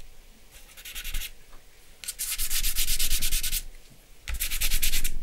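Charcoal and fingers rub and shade a flat sheet of drawing paper bearing a charcoal portrait. Three bursts of quick back-and-forth strokes make a bright, papery scratching hiss at about four strokes per second, separated by quieter pauses.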